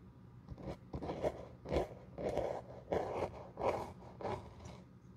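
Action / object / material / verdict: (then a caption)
scrape / leather shoe sole brushed with a glue brush / leather / none. A glue brush spreads glue across the solid leather outsole of a black quilted shoe held in the hand. It makes a series of soft, scratchy brushing strokes that swell and fade in an uneven rhythm, with a muted midrange rasp and little bright edge.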